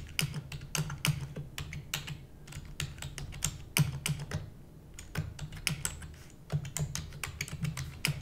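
A full-size black plastic computer keyboard with hollow keys is typed rapidly using the long nails and fingertips of both hands. About 34 sharp, bright clicks and clacks come in quick, uneven bursts with brief pauses, each dying away almost instantly over a steady low hum near 150 Hz.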